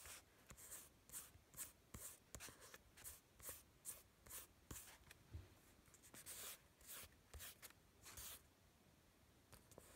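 Fingertips and short nails rub and tap across a flat sheet of drawing paper from a sketchpad that has marker drawings on it. A quiet, steady run of short, bright scratching and papery swishes follows, each stroke dying away quickly with faint soft thumps underneath.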